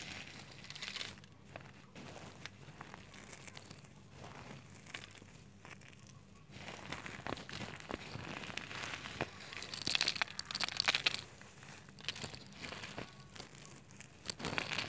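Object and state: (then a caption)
Shredded soap flakes. Fingertips squeeze and crunch through white shredded soap strands heaped in a clear glass plate, with a thin white stick resting at the plate's edge. The sound is a dense, bright crinkling and crackling, quiet at first, then building to its loudest, sharpest crunches around the 10–11 second mark before easing off.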